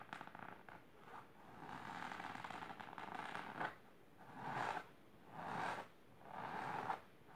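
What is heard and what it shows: Long silver nails scratch across the fabric of a large pink patterned fabric-covered storage box or ottoman, using both hands. Quick, rapid raking at first blends into a steady rasp, then gives way to several slower, swelling scratch strokes separated by short pauses. The texture is dry and scratchy, centered in the mid range.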